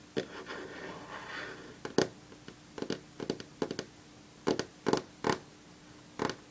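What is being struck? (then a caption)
Varnished wooden tabletop. Long fingernails tap rapidly on a solid varnished wooden tabletop, starting with a soft scratchy rubbing before a series of short, sharp clicks. The taps come in quick irregular bursts, each dry and bright with almost no ring, over a faint steady hum.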